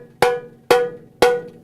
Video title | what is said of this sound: Snare drum tuning | if you tap the head it sounds like so it's really high pressure